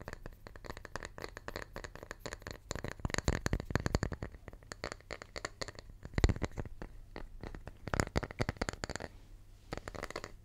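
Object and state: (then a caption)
Wooden tree slice. Fingertips tap and scratch a small, round, solid wooden tree slice held close to the mic. The result is a dense run of quick, dry taps and scrapes with little ring, mostly low and thumpy. A few sharper knocks stand out around the middle, and the sound thins briefly near the end.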